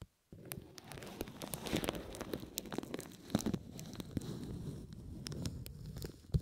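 Thin red-tinted plastic cling wrap is bunched over the ears of a binaural microphone and rubbed, squeezed and crinkled by fingertips with painted nails. A steady, close crackling and crinkling is dotted with many sharp snaps after a brief silence at the start.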